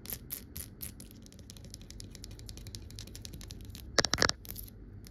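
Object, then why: Amber glass swing-top bottle. A medium amber glass swing-top bottle, lying on its side on a white table and appearing empty, is tapped and scratched along its rounded glass body with long acrylic nails. Quick, bright clicking taps run in a loose rhythm over a soft scratchy hiss, rising to a short burst of louder, sharper taps near the end before settling back into lighter tapping.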